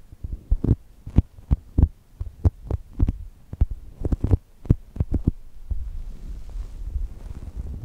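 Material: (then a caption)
Polyurethane foam. A brown polyurethane foam chocolate toast squishy, held between the microphones, is squeezed and pressed with fingertips and long nails, making a quick series of soft, muffled low thumps with faint crackly clicks on top. The presses then give way to a steady, low rubbing rustle as the nails and fingertips rub across the foam.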